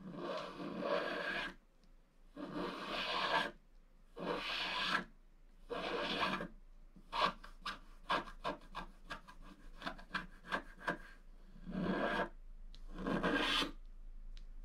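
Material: Wax coating.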